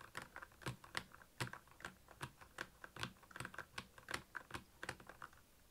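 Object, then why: Plastic mechanical keyboard. Two hands type steadily with their fingertips on the keycaps of a black, backlit plastic Royal Kludge mechanical keyboard. The presses make a quick, uneven run of short, dry clacks. Each has a bright click on top and a soft low thock underneath, with almost no ring after each stroke.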